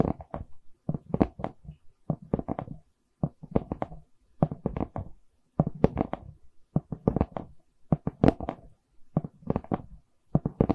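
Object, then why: Wooden canvas board. A wooden canvas board is tapped and knocked, giving short, dry, damped taps in quick clusters separated by brief pauses. The taps are mostly low and mid in tone, and they stop almost instantly with no ring.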